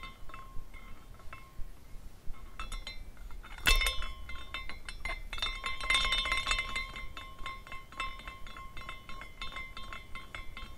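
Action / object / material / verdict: shake / small glass carousel ornament / glass / none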